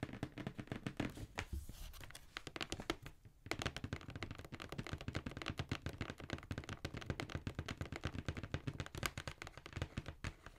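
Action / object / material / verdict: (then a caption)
tap / cardboard shoe box / cardboard / none. Long nails tap and scratch the printed side of a hollow black cardboard Jordan shoe box held upright. The result is a steady run of quick, dry, hollow clicks and thuds with short scratchy rasps in between, with almost no ring after each tap.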